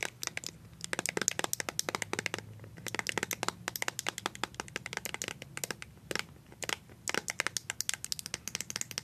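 A small, filled white plastic BB cream squeeze tube is tapped and scratched with colored paper-clip nails. Quick, bright clicks and crackly scratches come in dense bursts with brief pauses. Each tap is dry and short, with almost no ring and little low end.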